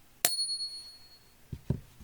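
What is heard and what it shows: A genuine silver bullion round gets a second ping test, giving a sharp ping with a clear high ring that sustains for about a second. A few soft low thumps follow afterward. The bright, lasting ring marks the round as real silver.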